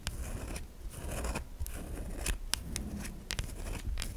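A solid white bar of soap is held in the hand while long nails scrape grooves into its surface, sending shavings falling. Soft, dry scratching runs throughout, punctuated by sharp, bright scraping clicks over a low, close rumble.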